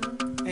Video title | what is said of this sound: Noah's Ark Found: 2010 on Mount Ararat in Turkey! Documentary | it has very Hollow sound very Hollow it sounds like metal